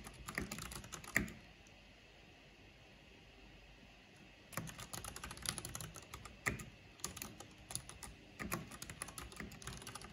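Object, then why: Plastic mechanical computer keyboard. Fast key tapping with long painted fingernails and fingertips on a full-size black plastic mechanical computer keyboard with a purple backlight and hollow housing. It makes dense, sharp, bright clicks with a light low thud under them. A burst of typing stops after about a second for a quiet pause, then quick clicking resumes and runs to the end.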